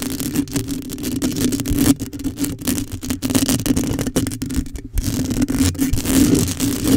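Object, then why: Metal mesh microphone grille. Long acrylic nails scratch the metal mesh grille of a black condenser microphone while one hand grips its head. The result is a dense, continuous rasping scrape over a steady low tone near 270 Hz, with brief quiet gaps around 2 and 5 seconds before the scratching resumes.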